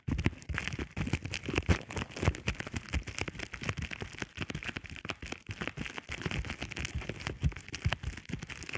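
A flat sheet of clear plastic bubble wrap is scratched and pressed with the short nails and fingertips of both hands. The result is a steady, dense stream of quick crackles and soft pops, each with a dull low thump and a bright, crinkly edge that dies away almost instantly.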